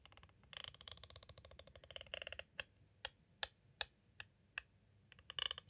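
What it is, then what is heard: Plastic cassette tape case. A green twisted tool with a metal tip taps and traces along the side edge of a clear, hollow plastic cassette tape case. Quick, dense, bright clicking and scraping fills the first couple of seconds, then gives way to sharp, isolated taps spaced apart. The clip ends with a short flurry of rapid clicks.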